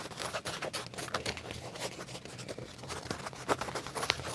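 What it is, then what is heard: Leather trousers scratched with fingernails. Fingernails scratch black leather trousers by the back pocket, producing a steady run of quiet, dry, bright scratching strokes. A few sharper clicks stand out near the end.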